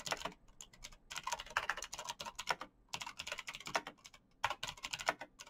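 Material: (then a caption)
Plastic. A black plastic mechanical gaming keyboard with clicky green switches, backlit keys and a hollow case is typed on quickly by fingertips in fingerless knit gloves. A rapid run of sharp, bright clicking taps comes in bursts with brief pauses. Each click is crisp and dies away almost instantly, with very little low end.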